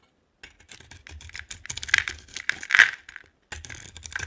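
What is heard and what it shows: A utility knife blade scrapes and carves white shavings off a solid yellow polka-dot bar of dry soap held in the hand. Dense, crisp, bright scratching and crackling comes in quick rough strokes, with a brief pause before the scraping resumes. The louder strokes give sharper, brittle crunches.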